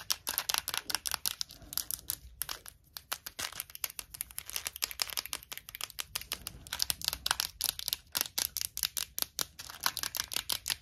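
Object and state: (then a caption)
Plastic mint box with mints. Long nails tap rapidly on a small, clear plastic Tic Tac box full of red mints, and the box is shaken. The result is a dense stream of sharp, bright clicks and rattles with almost no low end, each dying away almost instantly.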